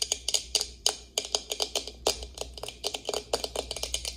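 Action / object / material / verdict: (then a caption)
tap / plastic tumbler lid / plastic / none. Long acrylic nails tap and scratch on the clear plastic lid of an insulated tumbler held in hand, with water drops visible under the lid. About 26 sharp, bright clicks come in a quick, uneven rhythm, each dying away almost at once, with faint scratching between them.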